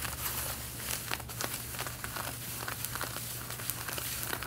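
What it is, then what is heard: Denim jeans being scratched. Long painted fingernails scratch around the front pockets and waistband of worn, light-blue denim jeans with stretched fabric. The result is a steady, dense rasping and crinkling texture with bright, quick scratch strokes over a constant low hum.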